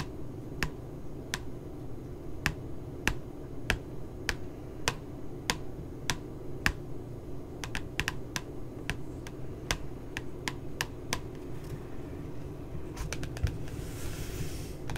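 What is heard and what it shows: Long glitter nails and fingertips tap around a puppy picture on the glossy printed cover of a flat spiral notebook. Sharp, bright, clicky taps come at an uneven pace, some in quick clusters, over a steady low background rumble. A short burst of soft high hiss rises near the end.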